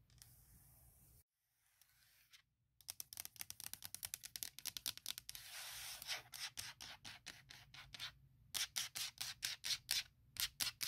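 Long nails and fingertips tap and scratch on a thin, hollow, forest-print hard plastic MacBook shell case. A soft scratching rub and a brief pause give way to dozens of quick, bright, clicky taps, with a hissy scratch in the middle. The taps grow louder and sharper toward the end, each one dying away almost instantly with very little low end.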